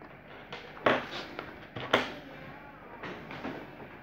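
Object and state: Crayon strokes on a paper notebook page.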